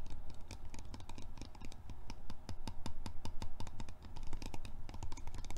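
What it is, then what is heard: Plastic lotion bottle. A small, hand-sized white plastic lotion bottle with a dark grey plastic cap, hollow and appearing filled, is held in both hands and tapped and scratched with fingertips and short painted nails. Quick, irregular, sharp clicky taps mix with light scratching over a steady low hum.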